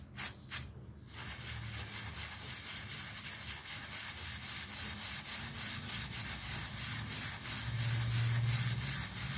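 A small round wet miniature pile carpet, held by fingers on a tile floor, is scrubbed with a yellow plastic toothbrush. A few quick bright brush strokes open the clip, then a steady, rhythmic wet scrubbing continues at about three strokes per second. A low rumble swells near the end.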